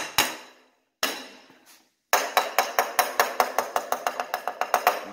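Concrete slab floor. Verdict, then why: Hollow. Tapping along a new-build concrete slab floor beside a load-bearing wall gives two isolated knocks, then a quick, uneven run of sharp taps with a hollow, ringing tone around 730 Hz and bright clicky tops. The slab sounds very hollow, suggesting a void and no footing beneath the wall.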